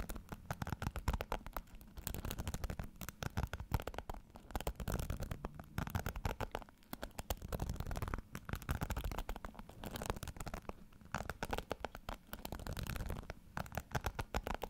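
Fingertips scratch and flick the bristles of a pink plastic hairbrush held in front of the mic. The result is dense, rapid, crackly scratching and ticking with a heavy low-end rumble. It comes in rolling waves of bursts separated by brief quieter dips, and each tick dies away almost instantly.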